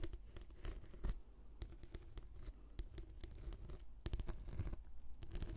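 Long nails scratch and patter on a rolled, translucent, textured plastic anti-slip mat, held diagonally as a hollow tube. Soft, dull scratching mixes with quick, short taps, and the sound is mostly low, muffled thuds with little brightness.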